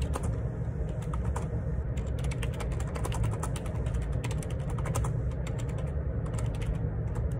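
Fingertips type on the plastic keycaps of a black plastic ergonomic split keyboard, a Perixx Periboard 612 wireless Bluetooth model with a hollow housing, lying on a grey laminate desk. A steady run of soft, clicky keystrokes rides over a strong low-frequency hum that fills the whole clip.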